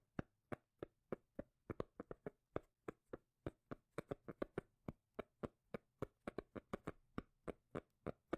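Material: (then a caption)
Cork. A cork lid is tapped repeatedly, giving a series of about 35 short, dull, low taps at an uneven rhythm. Each tap is brief with almost no ring.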